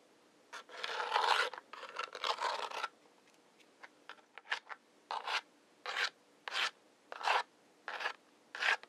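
Two wooden match heads, held in the fingertips, are rubbed and scratched along the brown striker strip of a large hollow cardboard matchbox. Long, dry rasping rubs come first, followed by quick light scratches and then a run of separate bright strokes with pauses between them. The gritty scraping has no low end and stops sharply after each stroke.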